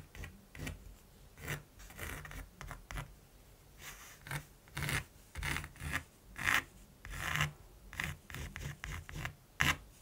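A mechanical pencil scratches dense hatching strokes across the textured surface of a large, flat primed canvas. The result is a run of short, dry, raspy bursts of uneven loudness, each with bright hiss over a soft low body, separated by brief quiet gaps.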